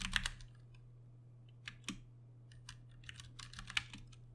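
Fingertips type rapidly on a compact 60% backlit Ducky One 2 Mini mechanical keyboard with Cherry MX Brown switches and plastic keycaps, resting on a desk mat. Short, bright clacks arrive in clusters and scattered single strikes, with a few louder taps standing out over a steady low hum.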